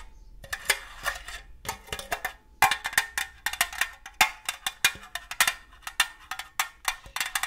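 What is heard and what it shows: Long gold metal claw nail covers tap and scratch on a hollow, apparently empty red-and-green printed cylindrical metal cookie tin with a lid. The result is a quick, irregular series of bright, clicky metallic taps, each with a short tinny ring near 2.1 kHz, over light scratching.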